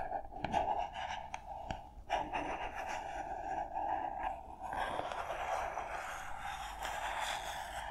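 Long nails tap and scratch the smooth faces of a small, hollow white printed cardboard product box labeled SPARV, held in the hands. Soft, dry taps mix with a steady papery scratching that carries a mid-range hollow tone, growing denser and brighter in the second half.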